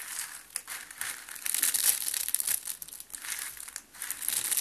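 A round rose of green and white dry soap shavings is held in both hands with red-nailed fingertips and pressed until it crumbles into flakes. A dry, crinkling crunch fills the clip with dense, bright crackle in irregular bursts and almost no low end. The rose breaks apart into loose soap flakes.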